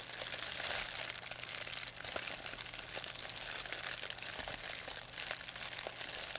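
A thin white plastic pharmacy bag with red and blue print, crumpled into a ball, is crinkled and squeezed in both hands by fingers with long painted nails. It makes a steady, bright crackling rustle with dense sharp crinkles and almost no low end, swelling and easing slightly as the bag is worked.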